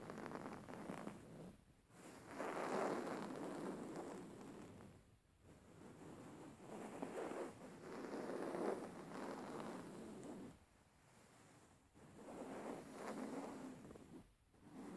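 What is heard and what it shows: A soft, filled, plain beige woven linen fabric cushion is held upright while the fingertips and nails of both hands scratch and massage it. The result is a soft, dry scratching rustle in mid-range swells, separated by brief quiet dips, with little low end.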